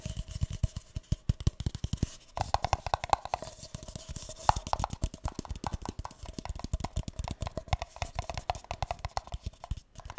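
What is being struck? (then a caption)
Paper cup. A single empty, hollow, light green paper cup is held close to the mic and tapped and scratched with fingertips and nails. Rapid, irregular taps give dull, low thumps with a hollow tone around 850 Hz, mixed with soft scratchy rustling throughout.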